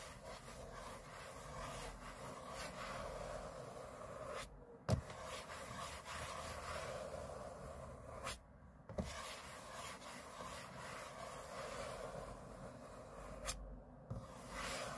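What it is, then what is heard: Aluminum laptop lid scratched. Short fingernails and fingertips of both hands scratch the thin, hollow aluminum shell of a closed MacBook lying flat on a table. Steady, dense rubbing and scraping runs throughout, with a low hollow rumble. It is broken by a few brief pauses and several sharp ticks.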